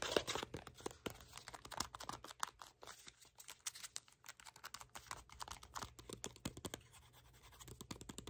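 A small, hollow, empty-looking printed red and green cardboard box of superfood cleanser packaging is held in both hands and tapped and scratched with short fingernails and fingertips. The result is a quiet, rapid stream of dry, crisp clicks and scratchy rustles with a bright edge, each tap dying away almost instantly.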